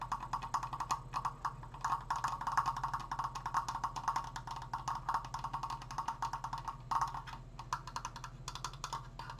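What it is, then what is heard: Wooden Triforce decoration. Fingertips tap rapidly on a wooden Triforce decoration, producing a continuous flurry of short, dry, woodblock-like clicks with a hollow tone around 1 kHz and bright upper edges. Each tap dies away almost at once, while a faint steady low hum sits underneath.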